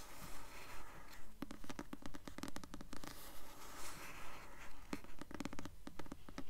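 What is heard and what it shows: Long nails scratch the glossy paper cover of the paperback novel "Delirium," which is held upright. A steady, rhythmic scraping repeats at a regular pace, interspersed with quick clicky taps that sound dry and low-pitched.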